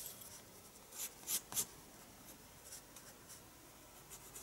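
A pencil draws on the page of a paper spiral sketchbook resting on a desk, making soft, bright scratching strokes over a quiet hiss. Three louder strokes stand out in quick succession near the middle, followed by lighter, fainter scratches.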